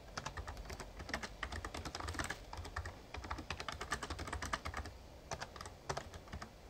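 Fingertips type steadily on a full-size backlit Razer Ornata Chroma plastic membrane gaming keyboard with plastic keys and a hollow case, resting on a desk. Quick, dry, clicky taps patter in an uneven stream, each with a bright snap and almost no ring, over a low rumble throughout the clip.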